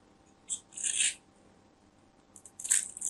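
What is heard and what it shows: A small craft knife scrapes and carves the surface of a solid, palm-sized orange bar of soap held in fingers with long white nails, sending shavings falling off. Brief, bright scratching bursts come in separate strokes, with nearly all the energy high and almost nothing in the low end. A quiet, steady background sits between the strokes.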